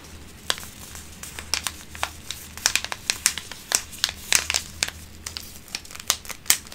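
A small, flat paper tea bag sachet in a printed wrapper is held in both hands with pink-painted fingernails, then crinkled and rubbed between the fingertips. Many sharp, bright crinkles and crackles come in quick, irregular bursts over a low, steady hum. Each crackle snaps off almost at once.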